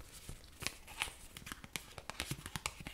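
A small, thin but solid white cardstock card printed with "YOINS" is held up in both hands and bent and rubbed with the fingertips. It gives a quiet run of about fifteen short, bright crinkling, tearing-like crackles at an uneven pace.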